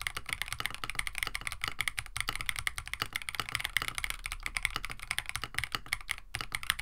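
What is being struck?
Mechanical keyboard with plastic keycaps.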